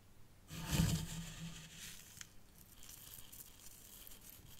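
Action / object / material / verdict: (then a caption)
scrape / fine sand in a small tray / sand / none. Fingertips and long nails scratch and rub through fine white sand in one compartment of a small hexagonal tray in a miniature zen garden. A gritty, rustling scrape swells quickly with a soft low rumble underneath, then fades into a quieter, bright hiss of grains shifting until the end.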